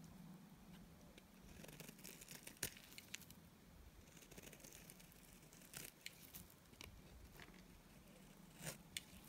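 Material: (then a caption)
Soap. A utility knife blade scrapes thin curls off the face of a solid oval white bar of dry Timotei soap held in the hand. The sound is a quiet, dry, crackly scraping with bright crisp rasps and a few sharper snaps standing out, over a steady low hum.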